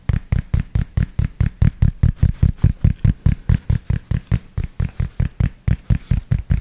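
Fingertips tap and scratch the crown fabric of a grey cloth baseball cap held close to the microphone. About thirty soft, muffled low thumps follow one another at a steady quick pace, each with a faint papery scratch on top. Every tap dies away almost at once.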